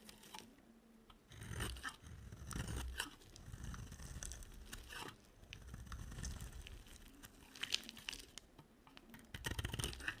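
A solid white dry soap bar with a yellow edge is scraped and carved with a box cutter blade. The result is dry, crunchy scraping and tearing in uneven bursts, with a low rumble underneath and bright crackling on top.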